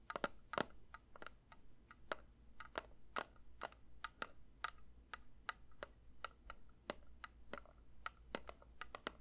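A metal candle tin is lightly tapped with the fingers, giving about 28 quiet, dry taps in an uneven rhythm over nine seconds. Each tap is a short, bright click with a faint metallic tone that dies almost at once, over a soft low hum.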